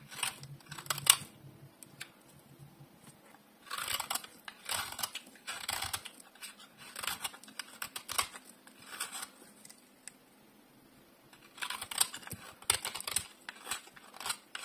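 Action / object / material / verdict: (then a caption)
scrape / bar of soap shaved with a metal blade / soap / none. A solid rectangular bar of dry orange soap, held in one hand, is shaved and carved with a metal utility blade. Bursts of crisp, bright scraping strokes come in clusters, separated by quiet pauses, including a longer lull near the middle. Each stroke stops dead, with almost no low end.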